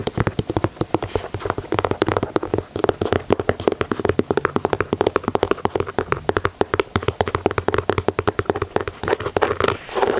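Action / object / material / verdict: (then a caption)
tap / leather sneaker with plastic mesh panel / leather / none. Fingertips and nails rapidly tap and scratch the plastic mesh panel and leather side of a white leather Air Jordan 4 sneaker. Dozens of short, dry taps with almost no ring sit in a mellow midrange tone around 400 Hz, with faint scratchy texture between them. The pattern runs steadily and densely throughout.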